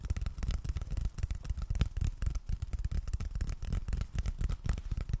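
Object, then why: Cardboard surface. Steady fingertip tapping on cardboard produces a rapid run of short, dull, low thuds with almost no ring. The taps come in quick irregular clusters throughout, and they stay soft, muffled and bass-heavy.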